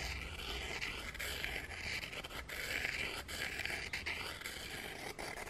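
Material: Gingerbread.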